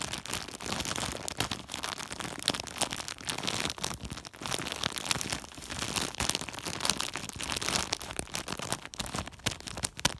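A hand rubs and squeezes a large white woven polypropylene plastic sack with its fingertips, making a dense, continuous crinkling. The bright, crackly rustle runs steadily throughout with frequent sharp snaps and little low end.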